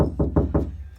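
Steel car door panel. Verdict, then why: Hollow. Knocking on a steel car door that has no sound deadening gives a quick series of dull, hollow knocks. They are deep and boomy, with short ringing. The door sounds empty.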